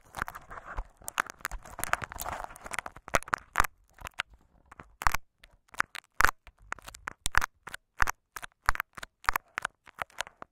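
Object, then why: Plastic tape wrapped over a microphone capsule. Fingertips and short nails of both hands scratch and rub layers of clear scotch tape wrapped over a small hollow microphone capsule. Dense, dry crackling and rubbing fill the first few seconds, then give way to sharper, spaced-out crinkly scratches and taps with bright edges and soft low thumps, each dying away almost at once.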